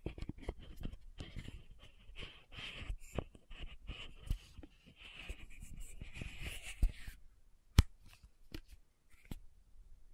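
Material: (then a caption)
Plastic. Fingernails tap and scratch the metallic cap and upper part of a small pink plastic sunscreen bottle held upright. For the first seven seconds there is a busy stream of quick taps and scratchy rubbing with a hissy midrange texture. It then thins to sparse, sharp clicks, the loudest a bright snap near the end.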